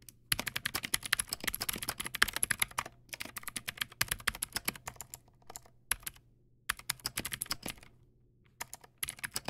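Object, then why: Plastic mechanical keyboard. Fingertips type on a backlit Teamwolf Zhuque+ X08 mechanical keyboard with white plastic keycaps and clicky blue switches. Sharp, bright clicks come in quick bursts separated by short pauses, over a faint steady low hum. Each keystroke is crisp and dies away almost instantly.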